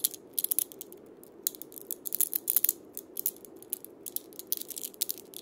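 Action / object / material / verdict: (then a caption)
scrape / cabasa with steel bead chains on a wooden body / steel beads / none. A wooden cabasa with steel ball-chain loops is held sideways by its wooden handle and twisted while a palm rests on the beads, making a scraping rotation. It produces quiet, irregular bursts of bright, dry metallic rattling and scratching with almost no low end and no ring after each burst.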